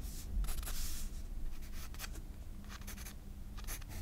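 A graphite pencil draws and scratches guideline strokes on the white paper page of a spiral sketchbook. Short, bright, scratchy strokes come in uneven bursts over a steady low hum.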